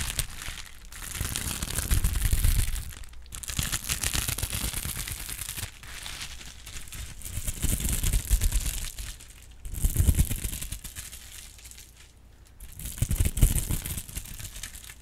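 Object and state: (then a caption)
Plastic bubble wrap. A held-up sheet of clear plastic bubble wrap is scratched and squeezed with long pink acrylic nails, making dense crinkling and scratchy crackles with a low, rumbling handling noise underneath. The sound comes in several swelling bursts separated by brief quieter pauses, with no clear single pops standing out.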